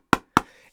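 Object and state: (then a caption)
Stiff, crisp foam core pickleball paddle. A Gen 4 foam core pickleball paddle is tapped twice, giving two short, crisp knocks with a quick decay, the second trailing off in a faint high ringing. It sounds stiff and crisp rather than hollow or thumpy, which is considered good for a foam core paddle.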